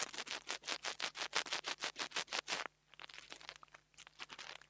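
The tip of a metal nail tool taps and scratches the metal grille on top of a small black plastic mini lavalier microphone. A steady run of rapid, bright, hissy scraping strokes plays for almost three seconds, then gives way to quieter, lighter taps and scratches.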